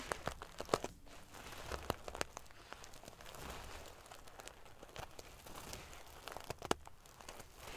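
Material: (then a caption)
Metal sequins. Fingernails scratch and ruffle the metal pieces on a silver metal paillette (sequin-covered) pillow. The result is a steady, quiet bed of crinkly, prickly rustling, dotted with many sharp, bright clicks and ticks that stop at once. The loudest snaps come near the start and again near the end.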